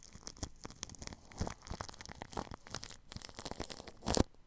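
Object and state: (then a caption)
Plastic cling film brushed over a microphone. A paintbrush brushes plastic cling film wrapped over the grille of a ball microphone. It makes a steady run of close, scratchy, crinkling strokes with bright rustling and soft low thumps. A louder, harsher crackle comes near the end.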